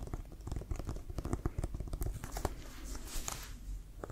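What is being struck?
Inflated leather American football.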